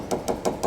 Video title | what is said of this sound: New Leopard Catamaran dry glass, voids and construction issue sounds, tap, hammer sounding testing. | it's like a secondary reverberation and it gets worse